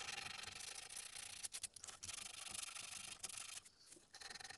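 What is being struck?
Small carved wooden keychain.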